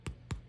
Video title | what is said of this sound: Blast from the Past 1976 Bake-off #27 Winner! Whole Wheat Raisin Loaf* Lets Make it! | They sound nice and hollow.